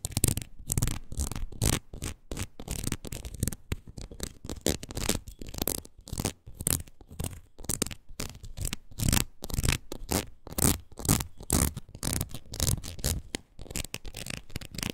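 Long nails scratch across the ridges of a red, ridged rubber wood-graining rocker held upright. The result is a fast, uneven series of short, rasping scrapes with a strong low thump under bright, crackly texture, and each stroke stops almost instantly.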